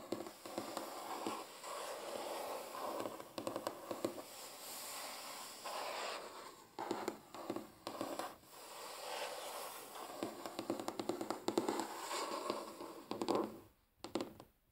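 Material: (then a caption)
Wood. Natural fingernails quickly tap and scratch across a large solid wooden tabletop. Dense, dry scratching and rapid clicking taps run almost nonstop, with a few brief pauses. The sound ends with a short silence and a last cluster of taps.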